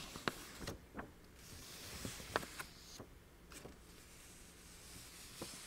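A single thin sheet of illustrated letter paper, printed with a puppy and a flower basket, is held in both hands, flexed and scratched by long painted nails. Quiet, soft crinkling and brushing carries a scattering of short, crisp ticks and scratches with bright, airy hiss and almost no ring.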